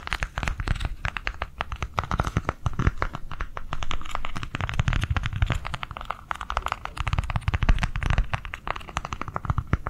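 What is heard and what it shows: Long nails tap rapidly on a small white plastic cardholder book held in the hands. The result is a quick, steady stream of short, dry clicks over a soft, low, thumping body, each tap fading almost instantly.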